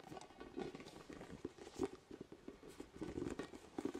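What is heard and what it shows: Fingertips tap a large orange, hollow, inflated vinyl spiky ball with nubs, held close to the mic. The result is a quiet, irregular series of soft, dull, hollow pats with a low-mid tone around 400 Hz. Each tap dies away almost instantly.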